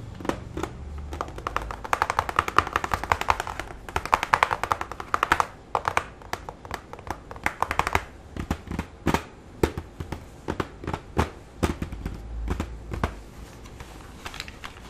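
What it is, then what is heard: Plastic keyboard back panel. Fingertips tap and drum on the flat plastic back panel of a full-size keyboard held upside down, its hollow body giving each short, dry tap a boxy ring around 1.2 kHz. Dense rapid drumming fills the first half, then thins into sparser, separate knocks over a faint low rumble.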